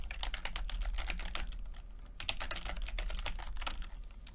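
Fingertips of both hands type continuously on a full-size plastic computer keyboard with red and blue backlit keys and low-profile keycaps. The result is a rapid, steady stream of short, bright key taps that die away almost instantly. A constant low hum sits underneath the whole clip.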